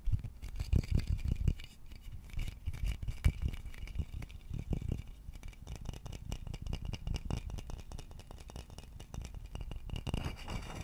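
A hollow wooden vase has its body scratched and tapped with fingertips and nails close to the microphone. Dense, dull, low thumps and soft scratching run throughout, with the loudest taps in the first second and a half and one sharp knock around 3 seconds. Each tap dies away almost instantly.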